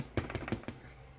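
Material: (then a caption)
Bread crust. A freshly baked homemade loaf of bread, just out of the oven, is tapped four times, giving short, dull, low thuds with little ring. It sounds hollow, the usual sign that the bread is baked through.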